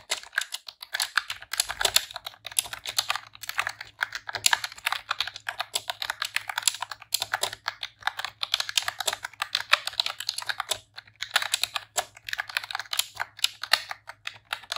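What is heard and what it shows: Long press-on nails and fingertips type rapidly on a pink retro-style plastic computer keyboard with round keycaps. A dense, steady stream of bright, dry clicks and clacks with very short decay runs throughout, over a faint low hum.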